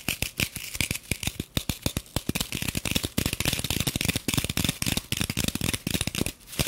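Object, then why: Plastic-wrapped floral foam block. Long nails rapidly tap, scratch and dig into a rectangular green floral foam block wrapped in clear plastic. The result is a fast, dense run of dry, crisp clicks and crinkly scrapes, with soft low thuds under bright, hissy plastic texture and no ring after each hit.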